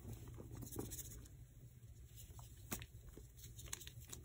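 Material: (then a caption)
Magnesium carbonate. White gym chalk blocks of magnesium carbonate, already partly crushed in a black plastic bowl with some yellow and brown chalk paste mixed in, are squeezed and crumbled into powder by bare fingertips and palms. Soft, dry crunching and crackling come through as a quiet, low rumbling texture, with about ten sharper, bright crumbling snaps scattered through.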